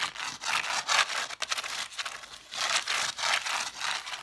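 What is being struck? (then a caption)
Stack of cloth-bound hardcover books. Long nails scratch and rub quickly along the gold-lettered spines of a solid stack of red cloth hardcover books. The result is a series of dry, bright, hissy rasping strokes that swell and fade in rhythmic bursts, with almost no low end.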